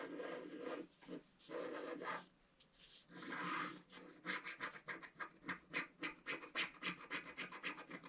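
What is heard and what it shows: A wooden stylus scratches the lower petal area of a flat, black-coated scratch-art card, starting with a few longer dry rasping strokes. These give way to a quick, fairly steady run of short, bright scratches. The sound is thin and high with almost no low end.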